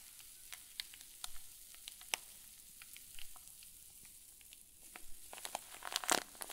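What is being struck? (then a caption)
Plastic zip bag with fluffy stuffing. A clear zip plastic bag full of white fluffy stuffing is wrung and squeezed with both fists. It gives off soft, bright crinkling and crackling with scattered sharp pops over a quiet hiss. The crackles grow busier and louder toward the end.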